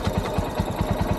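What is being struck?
Nothing is struck.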